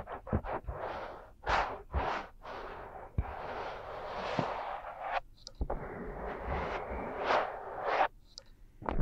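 Both hands cup the two small, soft silicone ear shapes of a 3Dio binaural microphone while fingertips rub and scratch them. The result is close, muffled swells of scraping and rustling over a low rumble, with soft thumps where the hands press and shift.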